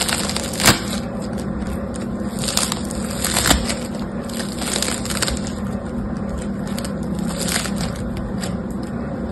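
A palm-sized, yellow-green foam bead slime (floam) is pulled and squeezed between the fingertips of both hands. It makes a continuous crackly, crunchy popping with a few sharper, brighter snaps over a steady low hum.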